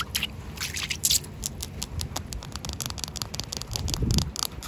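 Long acrylic fingernails scratch across solid, rain-soaked outdoor concrete ground, producing rapid, dry, bright scraping strokes over a low, steady rumble. Soft rain patter seems to run underneath, with a slightly heavier, lower scrape near the end.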